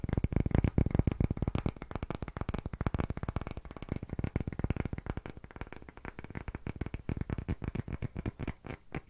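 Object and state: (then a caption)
Round wooden block, named. A thick, solid, round light wooden disc, held in both hands close to the microphone, is tapped rapidly with fingertips and short nails. A fast, steady stream of short, dull knocks continues for about nine seconds, heavy in low tones with almost no ring, and the taps grow slightly softer toward the end.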